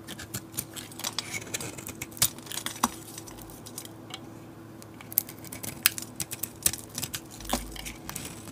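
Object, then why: Bar of soap cut with a utility blade. A utility blade scrapes the painted galaxy coating off a solid oval bar soap and carves into the cream soap beneath. Many short, sharp, bright scraping and clicking strokes are heard over a faint steady hum.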